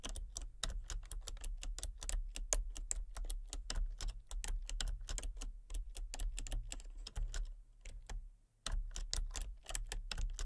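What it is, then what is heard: Plastic computer keyboard being typed on. Fingertips with long painted nails type rapidly on a full-size backlit plastic RGB computer keyboard with hollow key switches and colour-cycling lights. The keys give a fast stream of short, dry clicky taps with a bright edge over a steady low hum. The typing slows and briefly stops near the end before starting again.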